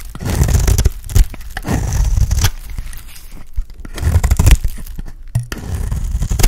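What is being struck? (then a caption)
Bar of soap scraped with a blade. A box-cutter blade scrapes across a dry, embossed oval bar of solid pink soap. It makes repeated rough, crumbly scraping strokes with a dull, low-heavy body and short bright crackles. The strokes come in uneven bursts with brief pauses between them.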